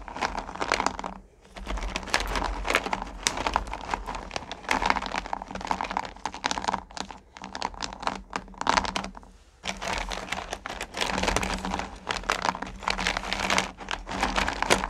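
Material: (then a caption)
Sugar candy. Hands with long nails dig, scoop and rake through small solid pumpkin candy corn in a purple plastic pail. A dense, bright rattling and crinkling clatter runs almost continuously, easing briefly at a couple of moments before surging back as the candy is stirred again. The clatter is dry and short, with no lingering ring.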